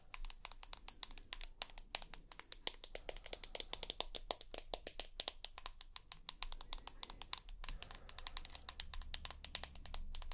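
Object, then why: Smartphone with glass back. Long nails tap and scratch the glass back of a larger rose gold iPhone Plus with a dual camera. Rapid, dry, bright clicks come in dense runs with no ring, over a faint low hum and soft scratching.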